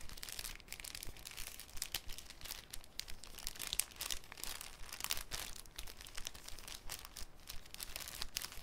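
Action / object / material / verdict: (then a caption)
scrape / thin clear cellophane sheet / cellophane / none. A folded, thin, clear cellophane sheet is crinkled and unfolded by fingertips. The result is a steady, quiet stream of dense, bright crackles and crisp snaps that stop instantly with no ring.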